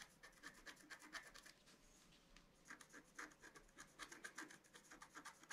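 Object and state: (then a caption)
Scratch-art card being scratched. A pointed wooden stylus scratches across a flat A4-size scratch-art card, its black coating over a colored foil layer, resting on a table. A quiet series of short, dry scraping strokes with a bright, high edge comes in quick bursts, pausing briefly in the middle.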